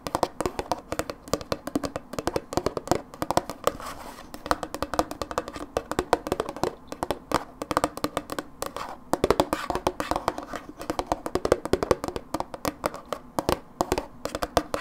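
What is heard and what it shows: A hollow Philadelphia dips plastic tub with a blue lid is tapped with long fingernails on its side and along the lid rim. The result is a fast, dense stream of dry, clicky taps that die away almost instantly, with a hollow midrange tone near 490 Hz and very little low end.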